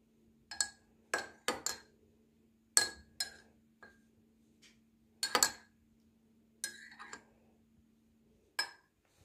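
A metal teaspoon stirs milky tea in a large ceramic mug with a blue leaf pattern on a kitchen counter, clinking against the mug's inner wall. About a dozen bright, short clinks ring out at irregular intervals, some in quick pairs, each with a clear tone near 1.7 kHz that fades fast. A faint steady low hum sits underneath.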